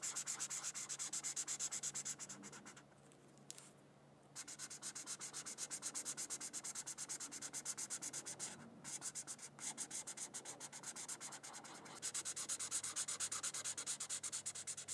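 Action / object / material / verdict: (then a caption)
scrape / felt-tip marker on a thin paper sheet / paper / none. A red felt-tip marker is rubbed in quick back-and-forth strokes over a thin white paper sheet on a coloring book, making a bright, high, scratchy rasp. The strokes come fast and fairly steady, with a short pause around the third and fourth seconds and a brief break near the ninth, before the coloring resumes to the end.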